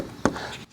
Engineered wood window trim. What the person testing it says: when you stab hear how solid it's a solid sound